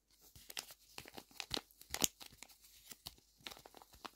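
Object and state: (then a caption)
Paper squishy. Fingertips with short nails squeeze and press a small, flat, Hello Kitty-shaped paper squishy that is stuffed and hollow-soft, turning it from its plain white back to its drawn front. The paper gives off a quick series of sharp, bright crinkles and crackles with tearing-like edges, each dying away almost instantly and separated by near silence. The whole clip is quiet and thin, with almost no low end.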